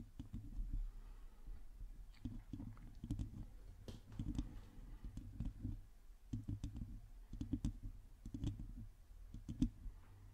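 Long glossy teal acrylic nails scratch and tap the hollow domed metal mesh grille of a black microphone, with both hands gripping the head. Dense, quiet clicks and scratches come in bursts with thumpy low rumble and very short decay, over a soft background.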